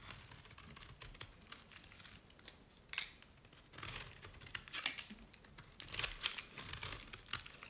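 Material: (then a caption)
Soap. A utility knife blade shaves layered curls off the bottom edge of a dry, cream-colored solid bar of Nevskaya Cosmetics soap. The result is a dense run of dry, crisp crackling and scraping with bright, sharp clicks, swelling into louder crunchy bursts as the curls break away.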